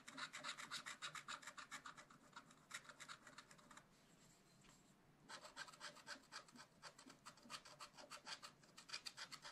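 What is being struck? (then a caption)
Scratch art paper scraped with a wooden stylus. A wooden stylus scratches back and forth across the black coated sheet of a small spiral-bound scratch art pad, revealing the gold underneath. Quick, bright, rasping strokes repeat at a steady rhythm of several per second. The strokes fade to a soft hiss for about a second before the brisk scratching resumes.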